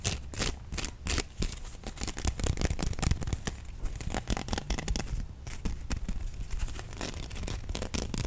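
A rolled bamboo slat sushi mat, held in both hands, has its slats scratched and tapped with fingernails and squeezed. This produces rapid, dry clicking and crackling with short bright transients over a low, rumbling base.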